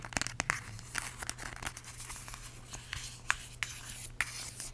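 Long acrylic nails tap and scratch a small, filled yellow plastic squeeze tube of vanilla hand cream with a white cap. Quick, sharp clicks mix with bright, crinkly scratching, and each tap dies away almost at once. A faint, steady low hum runs underneath.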